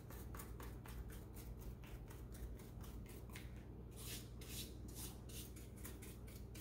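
Rubber-gloved fingertips press and tap the keys of a black plastic laptop keyboard, producing a steady run of soft, bright clicks and rubbing ticks. A constant low hum sits beneath the tapping throughout.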